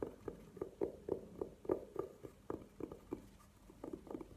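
Long nails tap and scratch the surface of a hollow, burgundy velvet-covered hard jewelry case standing upright on a table. About sixteen soft, muffled taps land at an uneven, quick pace, each a short dull knock with a low-mid hollow tone and almost no ring. Faint brushing scratches fill the gaps between them.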